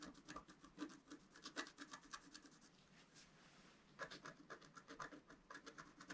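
A pointed wooden stylus scratches near the bottom of a thin, black, wax-coated scratch-art paper sheet lying flat and solid on a table. Quick, uneven strokes make dry, bright rasping scratches, with a quieter, smoother stretch in the middle before the strokes pick up again.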